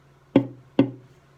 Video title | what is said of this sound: Baritone Ukulele Top Tap Tone Comparison | a cedar has a nice tone for sure that's gonna make a beautiful unit